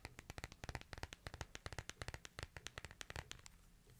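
Fingertips and nails tap and scratch the glass face and hard frame of a small smartphone. The result is a quick, uneven run of short, dry clicks with bright tops and a soft low thump, each dying almost instantly. Toward the end the taps turn lighter and sparser.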